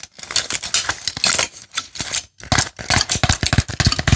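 An empty red blister pack with crushed plastic bubbles and a foil backing is pressed and crinkled with fingertips and nails. Dense, bright crackling and sharp clicks come in quick irregular bursts, with dull low thumps under them and short pauses between.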